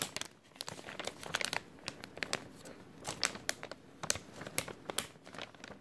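An empty, thin clear plastic bag with a white label is crinkled and squeezed with fingers. It makes a steady run of bright, dry crinkles and sharp crackling snaps that cut off almost at once, with little low end.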